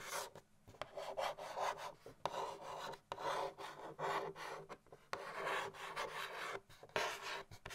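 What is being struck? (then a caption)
Cardboard gift box lid. A long-nailed index finger scratches and traces across the printed lid of a medium-sized, hollow cardboard Christmas gift box with a snowman design. The result is a series of dry, raspy scratching strokes, each a short burst of mid-range friction noise with brief quiet gaps between them.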